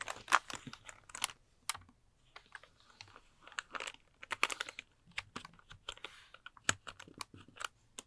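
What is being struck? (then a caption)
Plastic computer keyboard keys. Fingertips tap and type on the hollow plastic keycaps of a full-size pink plastic computer keyboard held upright near the mic. Quick, dry, bright clicks come in irregular bursts with quiet gaps between them, each dying away almost instantly, with hardly any low end.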